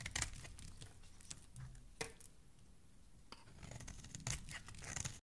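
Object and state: Bar of soap being carved.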